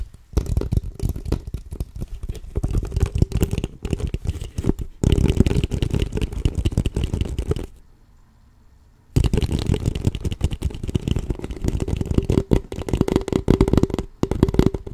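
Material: Plastic.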